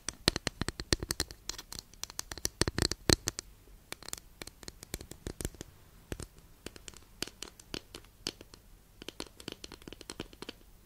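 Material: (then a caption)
Wood. Long nails scratch and tap a long, flat, solid wooden incense holder held in both hands. Dozens of quick, dry, bright clicks come in irregular clusters with short pauses between them. Each tap dies almost instantly over a faint, soft scratching hiss.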